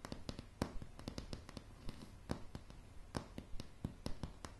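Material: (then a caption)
Wood. Long polished nails on both hands tap a solid wooden plank floor of light pine boards in a quick, irregular series. Each tap is a short, dry click with a soft low thump beneath it, dying away almost at once. Some taps land sharper and louder than others over a quiet background.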